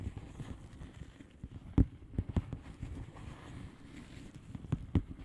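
Long polished nails slowly tap the bubbles of a flat, hollow plastic bubble-wrap mailer lying on a surface. The taps are soft, low, dull thumps with quick decay over a quiet rustling background, and a few stand out louder than the rest.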